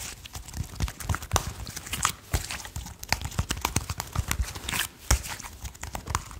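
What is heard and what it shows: A small handful of soft purple slime, a soft solid blob held in the hands, is tapped and squished by fingertips. A rapid, uneven run of short, dull taps and wet squelches has a low, thumpy body and bright, crackly snaps. Each sound dies away almost at once.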